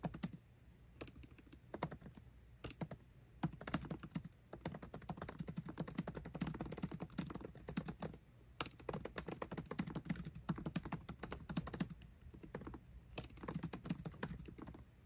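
A 13-inch aluminium MacBook Pro laptop keyboard with backlit black plastic keycaps is typed on with the fingertips of both hands. The result is a fast, steady stream of short, dry key clicks with soft thocks and no ring. Brief pauses break the stream near the start, middle and end.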